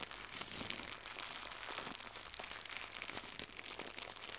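Fingertips with red nails squeeze and crumple a small white crinkly plastic gift bow. A steady stream of soft, dense crackling and crinkling fills the clip, bright and hissy with almost no low end. Each tiny snap dies away instantly.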